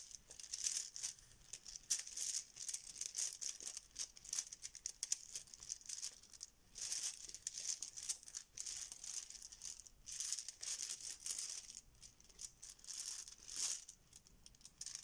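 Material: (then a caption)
Plastic. A filled yellow fabric Bananagrams pouch of plastic tiles is kneaded with fingers and nails and lifted, so the tiles inside rattle. Bursts of bright, crisp clicking and rustling rise and fall over the whole clip, with almost no low end and very short decays.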